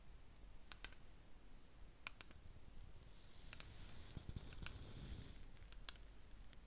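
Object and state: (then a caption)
Ceramic candle jar. Fingernails tap the outer wall of a small round ceramic jar filled with wax and holding a lit candle, held in the hands. Short, dry, bright clicks sound softly and irregularly over a low background rumble, with a faint high hiss rising midway through and then fading.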